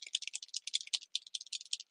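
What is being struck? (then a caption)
Refillable marker with a small mixing ball. A refillable marker filled with drawing gum masking fluid is shaken to mix it, with a marble mixing ball rattling inside the barrel. The result is a quick run of bright, dry clicks and rattles, all high in pitch with no low end, lasting under two seconds.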